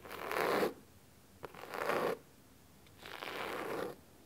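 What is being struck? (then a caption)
Cloth-bound hardcover book. Fingernails scratch the solid blue cloth cover of a large hardcover book lying flat on a wooden table. Three separate dry, raspy bursts of scratching sound out, with a small tick between the first two. Each burst is a broad, bright rustle with a body around 500 Hz, separated by near silence.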